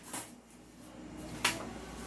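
The barrel of an upgraded Poseidon Medusa replica toy gun is shaken, giving only a faint rustle and then a single sharp, bright click with a short ring over quiet background noise. There is no rattle, so the barrel is tight and sounds normal.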